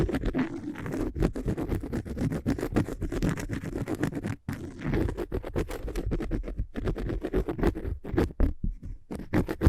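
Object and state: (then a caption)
Cork surface being scratched. Fingernails or fingertips scratch quickly across a cork surface, apparently cork coasters, in close-up. Dense, irregular scraping strokes follow one another rapidly with a dry, muted, low-heavy texture and very little ring. They pause briefly near the middle, then continue with a few short gaps toward the end.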